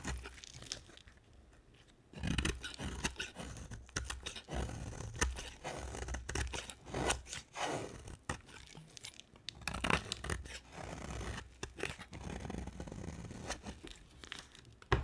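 A solid white rectangular bar of dry soap is held in the hand and carved with a utility knife blade. After a quiet opening, the blade makes continuous dry crunching and scraping strokes, with the sharper cuts standing out as bright crackles over a low rumble.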